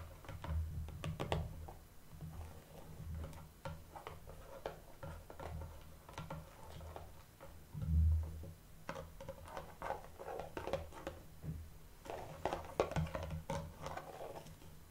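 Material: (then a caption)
Cardboard. Long painted nail tips tap rhythmically on a small, hollow, shrink-wrapped printed cardboard blind box holding a toy figure. The taps are quick and dry with a crinkly edge from the plastic wrap, over a low hum, and the tapping grows denser and brighter toward the end.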